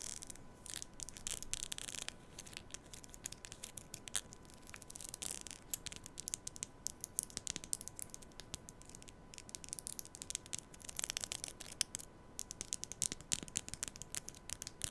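Long nails scratch and rub along the teeth of a black plastic comb held upright beside the mic. The result is a quiet, steady stream of dense, bright, crackly scratching made of many short, dry clicks with almost no ring.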